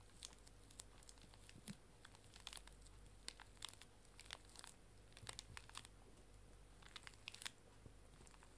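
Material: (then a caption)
Plastic film. Fingertips and long nails press, scratch and crinkle the plastic wrapper of a small, full, pink plastic-film pocket tissue pack. Sharp, bright crackles and crinkles come in irregular bursts over a quiet, steady low hum, each snap dying away almost instantly.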